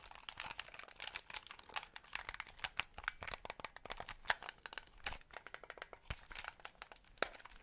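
Fingertips tap and click the buttons and triggers of a small white hollow plastic gamepad held in both hands close to the microphone. A rapid, uneven stream of sharp, dry plastic clicks and taps with bright, crinkly high end, little low-frequency weight, and almost no ring after each click.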